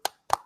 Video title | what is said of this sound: This Whole Everything:18 Hickman's Here To Save Us All! | that's a hardcover I don't know if you can hear that it sounds tinny